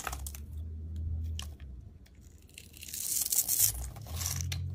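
A steel utility blade scores and cuts small cubes off the edge of a solid, hand-sized green rectangular bar of soap held in the hand. Soft, crunchy scraping and crisp tearing sounds repeat over a steady low hum, growing louder and brighter midway before easing back.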